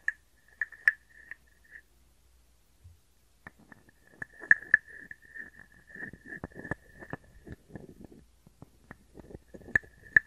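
A small hollow carved wooden frog guiro, held in the hand, is scraped and tapped with a wooden stick and fingers. Sharp hollow knocks ring briefly at a steady tone near 1.7 kHz, mixed with soft rasping scrapes and quieter finger taps, with a short pause early on.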